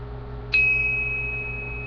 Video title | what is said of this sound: Different tsuba sounds | if I lightly tap it, listen to the ringing noise. So it's a really nice high-pitched ring